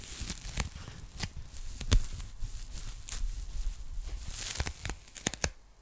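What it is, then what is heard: Polyethylene foam packing bag. A pink polyethylene foam packing bag is folded in the hands while long nails scratch and tap it. Soft, crinkly scratching with a faint crackle runs under a series of sharp, bright taps, each with a dull low thump and almost no ring.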